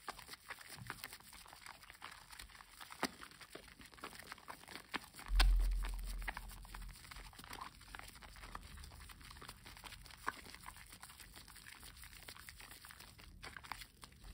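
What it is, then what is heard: Bar of soap being lathered. A solid green bar of household soap with an embossed leaf pattern, covered in lather, is rubbed and squeezed between two bare hands over a foamy basin. Soft, wet crackling and squishing continue throughout, with scattered small clicks and a louder low, squelchy swell a little past the midpoint before it settles back to quiet lathering.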